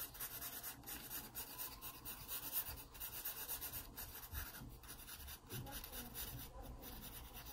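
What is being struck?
Graphite pencil on a paper sketchbook page.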